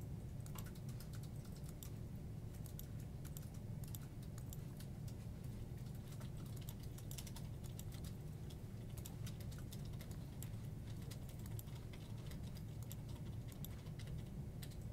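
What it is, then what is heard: Plastic computer keyboard being typed on. One hand types with its fingertips on a full-size black plastic desktop keyboard with hollow keycaps, tapping and pressing the keys. Quick, light, bright clicks run steadily through the clip over a constant low rumble, each tap dying away almost at once.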